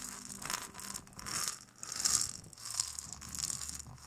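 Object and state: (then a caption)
Gourd maraca shaken. A single small hollow gourd maraca with a carved, painted shell and wooden handle, filled with rattling seeds, is held by hand and shaken beside the microphone. It makes soft, irregular swells of bright, high seed rattle and hiss, with almost no low end.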